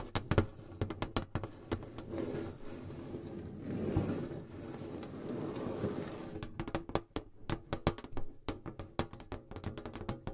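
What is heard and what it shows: Long blue acrylic nails tap on the lid of a medium rectangular metal tin box set between two pencil mics. Quick, dull, hollow-sounding taps with very short ring open and close the clip, and a steadier scratchy rubbing fills the middle. The sound is mostly low and thuddy with little brightness.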